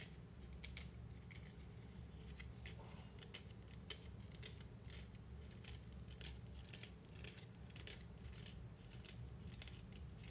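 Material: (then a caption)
Synthetic leather. A coiled, medium-size white faux-leather belt, held in both hands, is scratched and rubbed with fingertips and fingernails. Its surface gives off a steady run of quick, crisp scratching ticks and rasps with a bright edge, over a constant low rumble. The sound stays quiet and even throughout, with short, dry ticks that barely ring.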